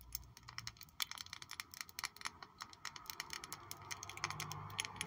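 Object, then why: Small glass perfume bottle with cap. A small purple glass perfume bottle with a gold-toned cap is held in the hands and tapped and scratched with long nails along its faces. Rapid, bright, sharp clicks and ticks come in quick irregular runs with light scratching between them, each tap dying away almost instantly over a faint low hum.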